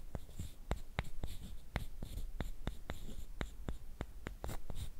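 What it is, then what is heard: Wooden sticks scraped together. One thin, flat, light wooden stick, solid and about hand length, is rubbed and scraped along another just like it. The result is a steady run of dry, quick clicks and scratchy strokes with a soft rustle between them. Each click dies away almost at once.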